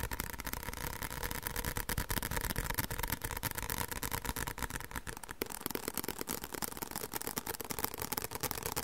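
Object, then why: Paperback book with thin card cover. A white paperback book with a thin card cover and a solid stack of pages is held upright in both hands and tapped on the back cover with fingertips and short nails. The result is a fast, uneven stream of short, dry taps, each with a soft low thud under bright clicks from the nails, at a fairly quiet, steady level.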